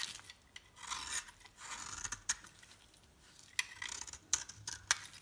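A metal knife blade scrapes and slices a solid dry bar soap with a white core and red edges into crumbly flakes. Bursts of high, bright scraping alternate with sharp short clicks and cracks, with almost nothing in the low end.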